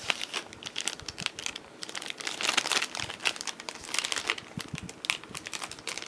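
A thin clear plastic sleeve holding a black Cold Steel Kobun folding knife is crinkled between bare fingers and thumbs as it is opened. Dense, bright crinkling and crackling fills the clip, with sharp snaps and almost no low end.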